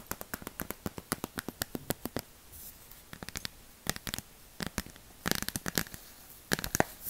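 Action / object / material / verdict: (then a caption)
tap / cardboard board book / cardboard / none. Long plastic fake witch nails tap a small, solid hardcover cardboard board book ("Miss Mary Mack") held in the hands, producing rapid, sharp clicking taps in uneven bursts, with brief scratchy rustles in between. The taps are dry and short, with no ring after each hit.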